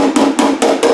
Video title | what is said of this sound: Triumph Spitfire Restoration - Door Body Work | you don't really hear that, or you don't really hear the metal